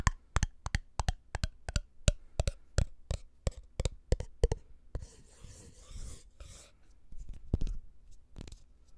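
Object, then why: Small glass jar with lid. A small, empty, clear glass jar with a black lid, held in both hands, is tapped and scratched with the fingertips. A quick run of sharp, dull, low taps with almost no ring gives way to a soft, hissy scratching, then a few more taps near the end.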